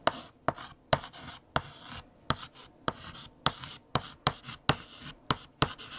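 A hand writes on a large flat black chalkboard with lavender chalk. The chalk gives sharp taps against the board between bright, scratchy strokes. About fourteen distinct taps come in a steady, uneven rhythm.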